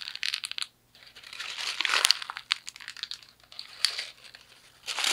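A thin white paper sheet is crumpled and twisted into a ball with both fists. Dense, bright crinkling and crackling comes in bursts, with a brief silence just before the one-second mark and the loudest crunches around two seconds. There is almost no low end.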